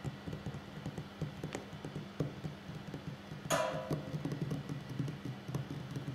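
Fingertips and short nails of both hands tap on a solid wooden tabletop in a quick, uneven patter of soft, dull knocks. A steady low hum sits underneath. About halfway through, one sharper, brighter tap stands out with a brief ringing tone before the light tapping continues.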